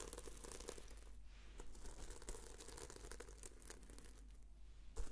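A red sequin-covered notebook is held in both hands while long nails scratch across it and flip the sequins. The result is a quiet, continuous crinkly scratching with many quick, bright clicks over a low steady hum.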